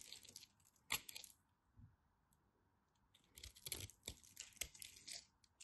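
A knife cuts into a solid orange bar of soap with a grid-scored surface and scrapes off flakes. It makes quiet, bright, crisp crackling and scraping, with a sharp snap near the start, a near-silent pause, then a busier run of dry, crunchy cuts. The sounds are short and die away at once.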